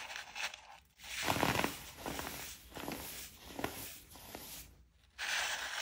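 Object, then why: Pressed baking soda pebbles. Fingertips crush and rub small, solid pastel pink, blue and purple pebbles of pressed baking soda into powder on a powder-covered surface, with a plastic scoop full of more pebbles beside them. A series of dry, bright crunches and gritty crumbling bursts rise and fall, separated by softer scraping and rubbing. The pebbles break down into powder.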